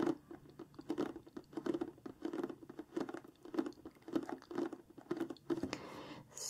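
Long fingernails of both hands tap and scratch the lower front of a large, flat, printed cardboard craft-kit box resting on a table, hollow with contents inside. Quick, dry, hollow patters come in rapid clusters around a low-mid tone near 330 Hz, with short bright scratchy swipes between them. The clip ends with a brief, brighter rasp.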